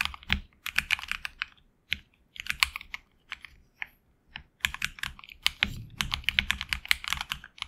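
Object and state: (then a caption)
Mechanical keyboard being typed on. A HyperX Alloy Origins Core mechanical keyboard with HX Red switches and backlit black and red PBT keycaps is typed on with fingertips. About 35 quick, bright keystrokes come in bursts separated by short pauses, each a crisp clack centered around 2.3 kHz that stops almost instantly.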